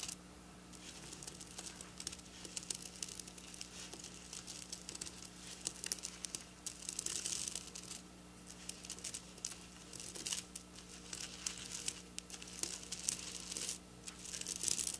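Long black natural nails scratch and trace across a flat piece of fabric covered in rows of small silver plastic sequins, lying on a counter. A quiet, steady stream of bright, crinkly scratching and tiny clicks continues for about fifteen seconds, with brief louder bursts, over a faint low steady hum.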